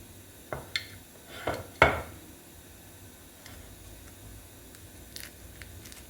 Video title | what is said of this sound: İçi Kaymaklı Midye Baklava Nasil Yapılir?#midye #şekerbayramı #bayramtatlısı | Er ist schön knusprig geworden.